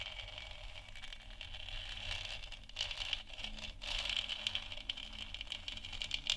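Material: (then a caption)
Plastic. Long nails on both hands tap quickly around the edges of a lit, hollow plastic moon lamp sphere. The result is a dense patter of light, bright clicks with a hollow ring near 2.8 kHz over a faint low hum. The tapping grows busier and sharper toward the end.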